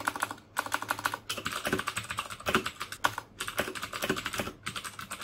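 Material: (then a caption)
Plastic. Fingertips type rapidly on the keycaps of a black plastic mechanical keyboard with clicky Cherry MX Blue switches. Bursts of sharp, bright clicks with a clear tone near 1.4 kHz are broken by brief pauses, and each click dies away almost instantly.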